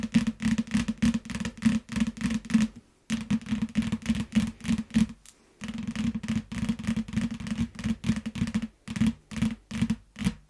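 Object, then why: Paperback book in plastic wrap. Long fingernails tap quickly on a yellow paperback book wrapped in clear plastic, lying on a mat. Fast, dense bursts of crisp, crinkly clicks ride over a soft low thud. The tapping stops briefly twice, once near the three-second mark and again around five and a half seconds, then resumes at the same rapid pace.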